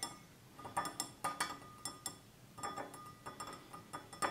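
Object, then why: Glass tumbler. Fingertips and nails of both hands tap the sides of a small, hollow, empty stemless drinking glass of clear glass with a red-tinted base, standing on a table. About fifteen light, separate clinks ring briefly with a bright glassy tone centered near 560 Hz and high shimmering overtones, each fading quickly between taps.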